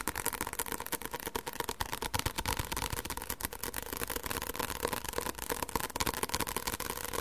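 Fingertips tap rapidly on the back cover of a solid white paperback book held in the hands. The taps are quick, dry and short with almost no ring. They come in a fast, uneven stream at a steady level, with a faint tone near 950 Hz and bright clicky edges.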